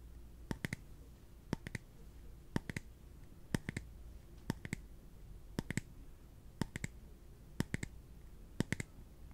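A small, translucent, empty clear plastic cup is held in the hands and tapped with the fingertips on its bottom and side. Nine evenly spaced bursts of two or three quick, sharp clicks come about once per second, each dry and bright with almost no ring. A faint low hum sits underneath.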